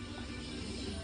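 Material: Nothing is struck.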